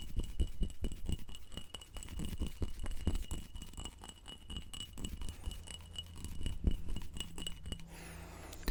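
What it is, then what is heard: Textured glass jar. Fingers tap rapidly on a textured glass wedding jar with a cross-stitch pattern, used as a candle holder. The sound is a fast, continuous series of short, glassy clinks over a low background hum, and the tapping stops in the final second.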